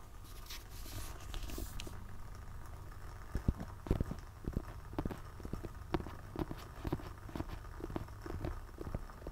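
Fingertips tap and scratch the glossy back cover of a solid, medium hardcover book. Soft scratching hiss in the first two seconds gives way to a quick, irregular series of short, dull, low taps that die away almost instantly over a faint rustling background.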